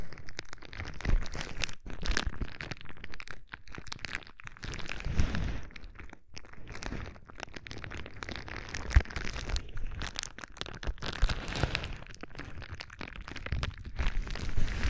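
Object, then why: Plastic bubble wrap sheet. Fingertips squeeze and pop the bubbles of a clear plastic bubble wrap sheet held close to the microphone. The result is dense, continuous crinkling and crackling with sharp pops and a heavy, boomy low-end thump.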